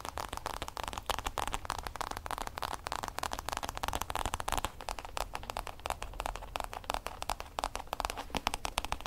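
Fingertips and nails tap and scratch the textured lid of a hollow, oblong hard-shell EVA zip case with a printed logo. The result is a dense, steady stream of short, dry clicks and crackly scratches with a mid-range knock and a faint hollow low thump beneath, each tap dying away almost instantly.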